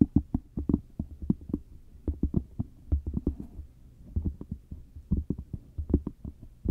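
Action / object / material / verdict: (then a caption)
tap / cork coaster / cork / none. Long matte dark nails scratch and tap across the surface of a round, flat, solid cork coaster held close up. The result is a rapid, uneven series of short, dull, low thuds with soft scratchy texture between them and almost no bright content. Each tap dies away almost instantly.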